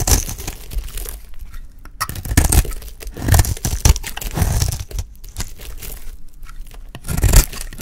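A solid, oval, dry yellow bar of soap held in the hand is shaved with a metal utility knife blade, and curls fall away as it is cut. Repeated crunchy, crinkly scraping strokes swell and fade in uneven bursts, heavy in low-end weight with faint bright crackle on top.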